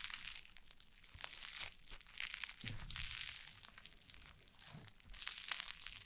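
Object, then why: Cloud slime on a wooden table. White cloud slime on a wooden table is pulled apart and pressed with fingers and long nails, making dense, bright crackling and crinkling sounds with soft tearing. Short sharp snaps rise out of the steady fizzing texture, and it swells louder near the end.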